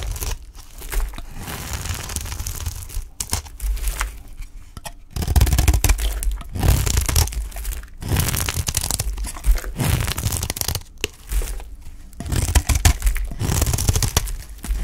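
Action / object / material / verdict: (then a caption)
scrape / olive-oil soap bar cut with a knife blade / soap / none. A utility knife blade scrapes and cuts thin curls from the edge of a dry, solid green olive-oil soap bar held in hand. The repeated scrapes make a dry, crunchy, tearing crinkle with a heavy low rumble and brief bright grit. Each stroke stops dead with no ring, separated by short pauses.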